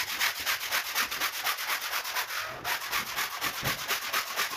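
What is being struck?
Woven rug scrubbed with a bristle push brush.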